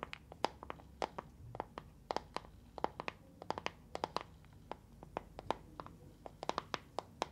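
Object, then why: Small plastic box filled with gel beads. A small translucent green plastic box with a handle, filled with water gel beads, is held in both hands and tapped and scratched with long nails. The result is a rapid, irregular run of short, sharp plastic clicks with a mid-pitched knock and bright edges, with faint scratchy rustling between the taps.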